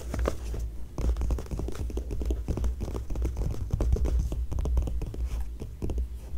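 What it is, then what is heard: Glossy magazine pages. Both hands scratch and tap the pages of an open glossy paper magazine, kept on the same spread, with long nails and fingertips. The result is a dense, continuous run of quick, dry scratches and light taps with bright crackle, over a steady low hum throughout.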